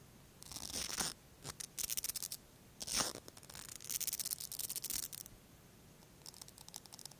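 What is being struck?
Plastic mascara tube with bristle brush wand.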